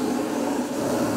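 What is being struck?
Nothing is struck.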